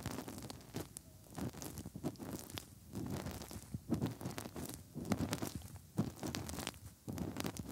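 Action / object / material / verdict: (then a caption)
scrape / silicone binaural microphone ears / silicone / none. Bare fingertips rub and press inside the hollow canals of the soft silicone ears on both sides of a 3Dio binaural microphone. The result is close, muffled rubbing and squishing, mostly low, broken by many quick bright clicks and crackles.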